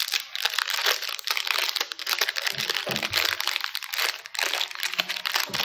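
Fingertips crinkle, squeeze and twist a small red plastic-film wrapper of a Choco Lava chocolate chip cookie pack, held full with the cookie inside in both hands while it is pulled open for unpacking. The sound is a dense, bright crackle of rapid crinkles and crunches with almost no low end and no ring after each crackle.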